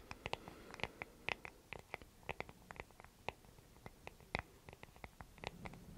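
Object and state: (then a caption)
Wooden hair brush. A small, solid, light wooden paddle hair brush with bristles is held in the hands and scratched and tapped with long nails on its wooden back and on the bristles. A quiet, rapid series of short, dry clicks and scratches is heard, each dying away almost instantly. The ticks are bright, centred around 2 kHz, over a faint low rustle.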